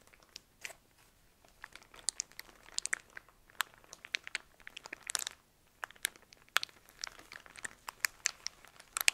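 A soft pack of cotton pads in crinkly clear plastic wrap is squeezed, turned and scratched with fingernails. Quiet, bright crinkles and sharp crackles come in irregular bursts, with no low end and a short lull just before the six-second mark. The result is a dry, close plastic crackling that stops instantly after each touch.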